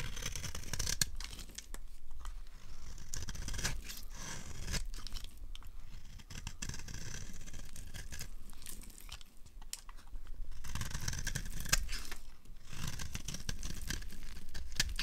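A dry, solid red bar of soap held in the hand is carved with a knife blade into crumbly flakes. The clip is a steady run of crisp scraping and crunchy shaving strokes with brief bright snaps, over a low rumble. The stroke tails are dry and short.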